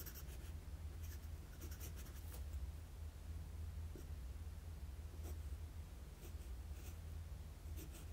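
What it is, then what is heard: Paper sheet under pencil strokes. A wooden graphite pencil makes sketching strokes on a flat sheet of drawing paper. Faint, bright scratchy bursts of pencil strokes come and go over a steady low hum.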